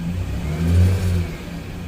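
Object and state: Nothing is struck.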